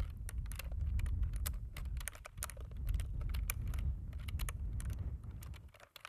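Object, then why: Plastic computer keyboard. Fingertips of both hands type on a black plastic computer keyboard, tapping the keys in quick, irregular bursts of sharp, bright clicks. A steady deep low rumble sits beneath the tapping throughout, and the sound fades near the end.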